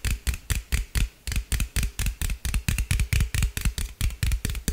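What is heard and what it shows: A hollow green aluminum drink can, held in the hand, is tapped and scratched with fingernails. The result is a rapid, uneven series of about two dozen short taps, each with a deep hollow thump and a bright scratchy clatter that fades quickly.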